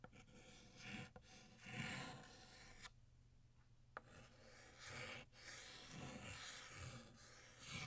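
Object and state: Chalk writing on a chalkboard.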